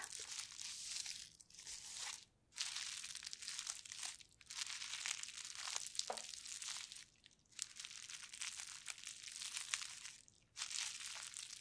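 A clear plastic bubble wrap sheet is lifted, then laid flat on a white table, where the fingertips and long painted nails of both bare hands press and scratch the air bubbles. A dense, bright crinkling and scratching runs almost continuously, with no low end. It breaks off for a few brief silent gaps before resuming.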